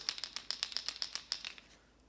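A plastic Strike King Sexy Dog Hard Knock, a pencil-style topwater walking bait in a transparent green gizzard shad pattern, is shaken so the single large ball in its tail section knocks back and forth. About twelve sharp, bright clacks sound in quick succession and fade at the end. This single-knocker design is meant to give a harder knock than the high-pitched rattle of the standard version.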